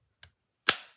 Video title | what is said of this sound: QSP Bison | you hear that retention it's stuck in there it's not coming out you could shake this around it doesn't rattle doesn't move